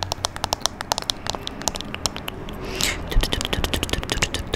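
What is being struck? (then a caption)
Small glass perfume bottle. Long nails tap and scratch a small amber glass perfume bottle with a dark cap, held just above the microphone. Quick, bright, clicking taps with a short ring come in a rapid series over a low rumble. Near the middle, a brief hissing scrape sweeps across the glass, then the tapping resumes.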